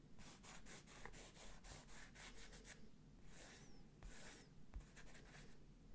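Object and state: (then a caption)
Printed canvas wall picture. Fingertips trace and scratch across the printed letters of a medium square IKEA London wall picture, a printed textured canvas surface on a rigid frame held in hand close to the mic. Quick, soft, dry rubbing strokes repeat in a loose rhythm, each a bright, breathy scrape, with a few longer sweeping passes near the end. Faint low rumble sits underneath.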